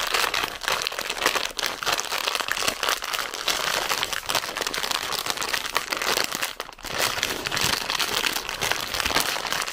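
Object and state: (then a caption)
Crinkled plastic snack bag. A full red plastic zefir bag is crinkled and scratched with long nails, giving a dense, continuous bright crackling and rustling. A brief dip in the sound comes near the seven-second mark before the crinkling resumes.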